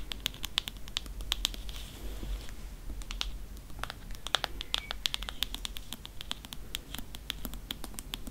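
Long nails tap and scratch along the embossed spine of a thick Grimm's fairy tales hardcover with a faux-leather cover. Quick, dry clicking taps with a bright edge near 3.5 kHz mix with soft scratching over a steady low hum.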